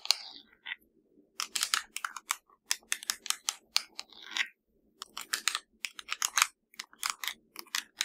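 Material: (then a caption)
Plastic. Fingers tap and scratch a plastic LG TV remote control, making a quick series of crisp, bright clicks and brief raspy scratches. The sound is dry and high-pitched with no ringing, and short pauses separate the bursts.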